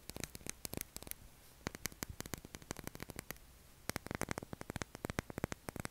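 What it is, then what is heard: Bar of soap. Fingernails scratch and tap a pale blue solid bar of soap with a carved logo, leaving white flakes behind. Dozens of short, dry, crisp clicks come in quick bursts with brief pauses between them, over a faint low hum.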